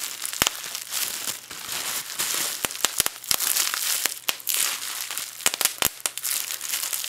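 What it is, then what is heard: Plastic bubble wrap being popped. A small bunched piece of clear plastic bubble wrap is crushed and twisted between both hands while the fingers press the air bubbles until they pop. Continuous bright crinkling and crackling runs throughout, broken by sharp, short pops that die away almost instantly.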